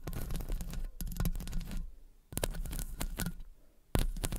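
Long acrylic nails on both hands scratch and tap the hollow metal wire-mesh head of a condenser microphone. Dense, crackly scratching and tapping comes in bursts, with a thick, boomy low-end thump, broken by two short near-silent pauses before resuming.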